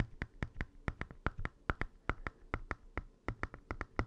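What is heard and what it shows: Fingernails of both hands tap rapidly on the plastic screen cover and bezel of an open, small, hollow red plastic Game Boy Advance SP handheld console with its screen off. About 22 short, dry clicks sound in quick, uneven succession, each with a bright plasticky tick and a faint low knock underneath. None of them rings on after the hit.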